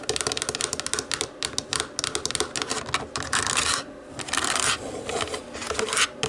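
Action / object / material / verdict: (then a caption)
scrape / plastic remote control with rubber buttons / plastic / none. Long acrylic nails tap and scratch across the rubber buttons of a small, hollow black plastic DVD remote control lying on a wooden table. Rapid, bright, dry clicks come in quick bursts, broken by longer rasping scratches across the buttons.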